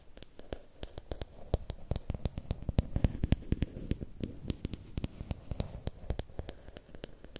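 Fingernails tap and scratch along the length of a long, thin, solid bamboo or wooden stick. Quick, irregular, sharp clicking taps with bright tops and a low, dull body sound over a soft scratching rustle between them. Each tap dies away almost instantly.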